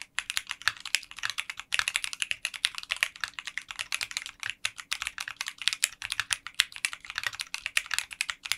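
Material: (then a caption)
Polycarbonate. A 60% mechanical keyboard with translucent pink polycarbonate keycaps in a clear case is typed on continuously with fingertips. The dense stream of short, bright, clicky keystrokes has almost no low end and decays quickly.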